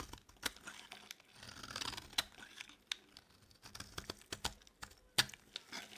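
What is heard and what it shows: A metal blade scrapes thin strands from the edge of a solid, dry yellow bar of soap held in the palm. Quick, dry, crisp scrapes and crackles come through with a bright, high-pitched texture and almost no low end. Sharp clicks stand out from a softer rasping bed.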